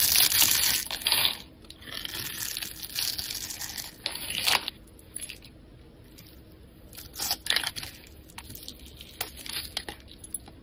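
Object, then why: Bar of soap scraped with a metal knife. A palm-sized solid yellow bar of soap, held in the hand, is scraped and shaved across its surface with a metal knife blade, producing crumbly curls. Dry, bright scratching and crumbly rasps come in irregular bursts, loudest in the first second and around four and a half seconds, then thinning to quieter, sparser scrapes with a few sharper flurries near seven and a half seconds.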